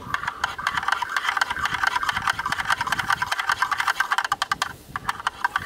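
Two thin yellow sticks tap and rattle rapidly inside the opening of a hollow black plastic rectangular camera lens hood. The result is a fast, continuous run of dry, hollow plastic clicks with a mid-high tone, almost no low end, and very short decay. The clicks dip briefly near the end before the tapping resumes.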